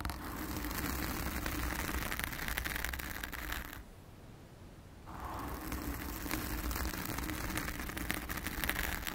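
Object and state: Foam microphone windscreen.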